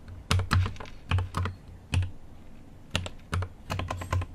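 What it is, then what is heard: Mechanical keyboard with plastic keycaps. Fingertips type on a GMMK Pro mechanical keyboard with an aluminum case and plastic keycaps, producing irregular keystrokes with some quick double taps. Each press gives a deep, thocky low thud with a brief bright click on top, decaying quickly into a quiet background.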